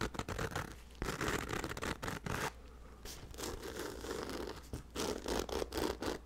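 A black nylon fabric bag, held by its handle close to the microphone, is scratched and rubbed with the fingertips. Dry, scratchy rustling comes in irregular bursts with a brief quieter stretch in the middle, over a steady low hum. The scrapes stop dead with no ring.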